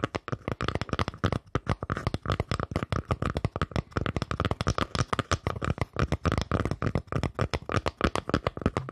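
Fingers tap rapidly and continuously on a wooden surface for about nine seconds. Each tap is a short, dry knock with most of its energy in the low end and almost no ring.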